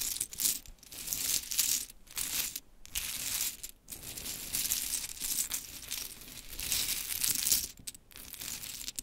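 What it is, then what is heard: Pile of small wooden clothespins. A pile of small pink wooden mini clothespins is gathered and rubbed together by hands, then scratched with long chrome nails. The result is a dense, bright, dry clicking and rattling texture with scratchy rustle, almost entirely in the high range with little low end. It comes in uneven bursts separated by brief near-silent pauses.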